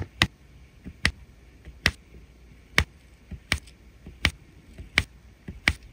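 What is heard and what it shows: A plastic drill pen taps gold resin drills onto the sticky surface of a flat adhesive resin rhinestone diamond painting canvas. Eight sharp, bright clicks ring out at a steady pace, each dying away almost instantly, with softer taps and faint rustling between them.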